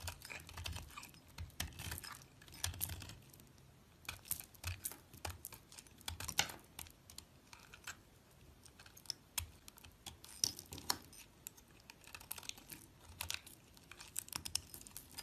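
A small solid bar of yellow soap with a green rim, held between fingers with long nails, is shaved and scraped with a metal box-cutter blade. Quick, bright scraping and crisp cutting strokes come in dense clusters with brief pauses between them, each stroke dying away almost at once.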